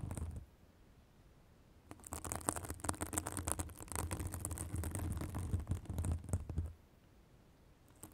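A white fibrous synthetic bath sponge held above a microphone is scratched with long acrylic nails. After a quiet start, a dense burst of rapid, irregular scratching and crackling runs for about five seconds over a deep low rumble, then fades back to quiet.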